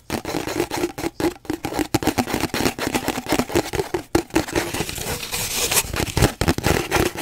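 Fingernails rapidly and irregularly tap and scratch an empty, hollow cardboard paper towel roll held horizontally. The dense flurry of short, dry taps carries a hollow, boxy resonance, mixed with bright, papery scraping that grows louder toward the end.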